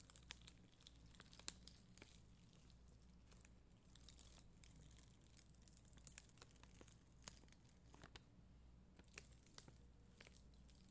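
A hand with long green nails scratches and brushes a plastic spoolie brush across a flat sheet of red and clear faceted acrylic adhesive rhinestone gems on white backing, possibly inside a clear plastic sleeve. The result is a quiet, steady crinkling and scratching texture with bright, crisp ticks and small louder clicks over a faint low hum.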